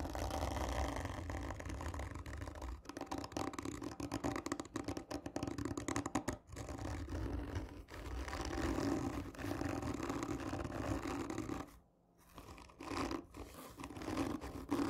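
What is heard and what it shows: Long nails scratch along the textured surface of a hollow cardboard tube lying on its side, producing continuous dry rasping and scraping with a hollow, mid-low resonance. The scratching runs almost throughout, dropping briefly to near silence around the twelfth second before resuming.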